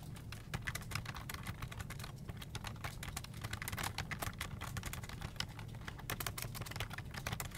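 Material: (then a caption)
Plastic. Fingertips type steadily on a full-size black plastic desktop keyboard with hollow keycaps, producing a fast, uneven patter of short, bright clicks and taps. A steady low hum sits beneath the keystrokes throughout.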